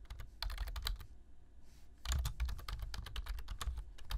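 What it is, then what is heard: Plastic computer keyboard. Fingertips tap the keys of a black plastic low-profile computer keyboard in continuous typing, giving rapid, bright clicks over a low thump. The typing thins out to a brief lull partway through, then resumes just as quickly.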